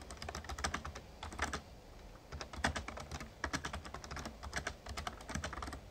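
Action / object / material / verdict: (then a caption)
tap / plastic membrane keyboard / plastic / none. Fingertips type steadily on the keys of a full-size, backlit plastic Razer Ornata Chroma mechamembrane gaming keyboard. Quick, soft clicks and taps come in irregular bursts with short pauses, each keystroke decaying almost instantly over a low, dull thud.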